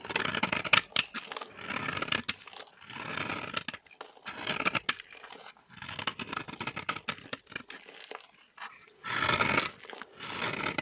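A metal blade shaves curls off a solid, dry, vintage orange bar of soap held in the hand. Repeated bursts of bright, dry scraping and crunching follow one another with short pauses between strokes.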